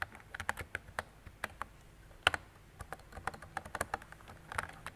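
Fingertips with long decorated nails type on a mint-green retro mechanical keyboard with round plastic keycaps and a hollow plastic body. The keys give quick, bright clicks and clacks with a hollow tone, each dying away almost at once, in an uneven run of about sixteen strokes, with one sharper, louder clack near the middle.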